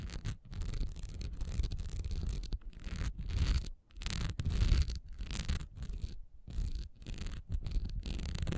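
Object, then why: Textured wax pillar candle. Long nails scratch quickly over a solid honeycomb-textured wax pillar candle with a diamond texture, lying on its side on a dark towel. The result is a dense, rasping scratch heavy in low rumble with a faint bright hiss, coming in bursts separated by brief pauses.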